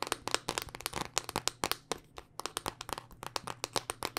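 A thin, solid black smartphone of glass and plastic, held upright in both hands, is tapped with long dark-painted nails. About 24 quick, sharp, bright clicking taps come in an uneven rhythm, each dying away almost at once with no ring.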